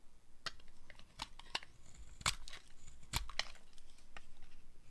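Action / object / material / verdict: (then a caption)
scrape / bar of soap carved with a small blade / soap / none. A small metal blade carves crumbly flakes off the edge of a green-and-white striped solid dry soap bar held in the palm. Each cut makes a short, dry, bright scraping crackle that dies away almost at once, over a faint low rumble.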